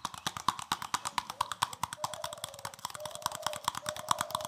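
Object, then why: Plastic scrubbing brush. Fingertips rapidly scratch and tap the stiff plastic bristles of a palm-sized green plastic scrubbing brush with a solid back. The result is a fast, dense run of sharp, dry clicks that stop almost instantly, with a crisp tone around 1.1 kHz and bright, scratchy highs over a soft, continuous bristly rustle.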